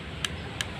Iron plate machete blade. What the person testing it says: Ini bunyinya sama sekali tidak ada nyaring-nyaringnya ya.